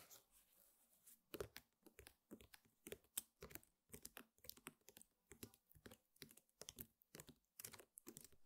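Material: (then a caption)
Rattan. Both hands with long painted fingernails tap rapidly in a typing-like motion on a flat, square woven rattan table mat and scratch across its weave. The result is a quick, uneven run of dry, crisp clicks and crunchy, crinkling scratches that stop dead with no ring, over a quiet background.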